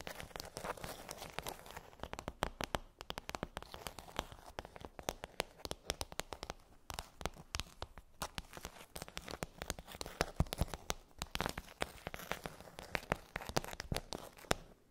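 Long nails tap and scratch across a pink plastic dome tray with hollow bumps. The result is a dense, continuous stream of sharp, dry clicks and crinkly scratching that die away almost instantly, with a hollow plastic tone in the mids and bright edges on each tap.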